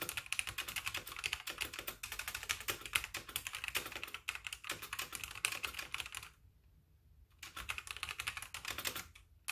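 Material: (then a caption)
Plastic. Both hands type rapidly on a full-size backlit mechanical keyboard with white plastic keycaps, giving a dense stream of bright, crisp plastic clicks. A short pause near the end falls almost silent before the typing resumes.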